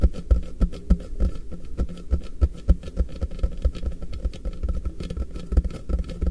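Fingertips tap from both sides on a hollow, apparently empty, frosted translucent polypropylene storage box from MUJI, its base held flat in front of the recorder. A rapid, uneven run of soft, deep, hollow thuds with very short decay fills the clip, with almost nothing bright above the low body.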